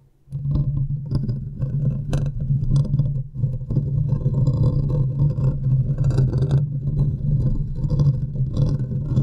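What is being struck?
Metal mesh microphone grille.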